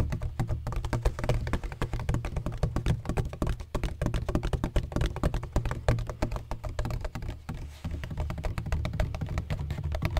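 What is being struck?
Textured plastic ring-shaped bottle.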